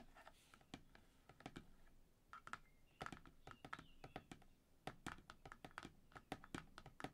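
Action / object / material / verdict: tap / laminated cardboard ring binder cover / laminated cardboard / none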